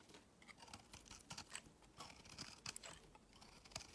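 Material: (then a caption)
Soap. A metal utility knife blade shaves a solid cream-white bar of soap into crumbly shavings. Quiet, bright, crisp scraping and crunching strokes come in quick, irregular bursts that stop dead with almost no ring.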